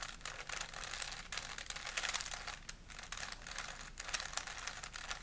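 A small, solid plastic 3x3 Rubik's cube is held in both hands while fingertips twist its layers. The result is a quiet, rapid stream of bright, dry plastic clicks and rattles with very short decay, in dense bursts and brief pauses.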